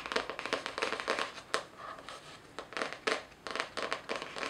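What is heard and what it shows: Long nails scratch and tap the floral cardboard cover of a spiral-bound notebook held upright. Dry, crinkly scratching runs between sharp, quick taps that die away almost at once. The sound is bright and papery with no low rumble.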